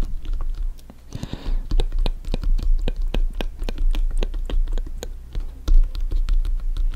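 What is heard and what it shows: A full-size inflated hollow soccer ball with stitched synthetic leather panels, resting on a table, is tapped and scratched on top with bare fingertips and nails. Quick, dry taps with a short, low, hollow thump follow one another in an uneven rhythm, broken by a brief scratchy rustle just after the first second. Each tap dies away almost instantly.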